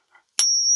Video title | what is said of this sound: DONT BUY FAKE SILVER! (how to test silver at home) | the fake morgan has kind of a weird sound to it